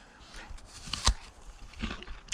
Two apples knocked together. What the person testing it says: when i knock it together it's so hollow